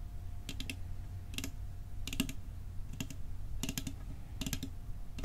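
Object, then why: Metal cookie tin. A metal cookie tin is tapped for ASMR with quick, light fingertip-style taps that come in small clusters. Each tap is a short, bright click with a faint tinny ring that dies away almost at once, over a steady low hum.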